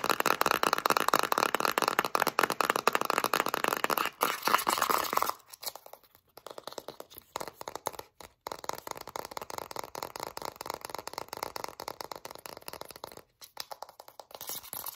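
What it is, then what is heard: Plastic petroleum jelly jar, full. Long nails rapidly scratch and tap a full Vaseline petroleum jelly jar with a blue plastic lid and translucent plastic body, working over the lid top and the label side. Dense, crisp plastic clicks and scratchy rasps run loud and nearly continuous for about five seconds. After a brief pause they resume at a lower level with short gaps, sounding dry and bright with no low end.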